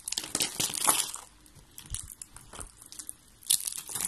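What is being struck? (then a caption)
Rolled soap curls and flakes. Fingertips with long red-painted nails crush and crumble a pile of thin, hollow, rolled pink and yellow dry soap curls and flakes. A dense, bright crackling crunch fills the first second, then thins to sparse dry crinkles before another sharp burst of crunching near the end.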